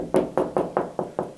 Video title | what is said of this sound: How to Find Wall Studs When Installing Closet Shelves | there's a stud there